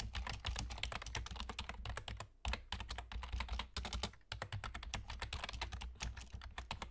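Fingertips with short nails from both hands rapidly tap the hollow keys of a full-size black plastic computer keyboard with German key labels. The result is a dense stream of bright, crisp clicks, with brief pauses near 2.4 and 4.3 seconds, over a steady low hum.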